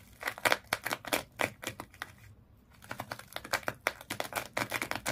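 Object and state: Sisal rope wrapped fish toy.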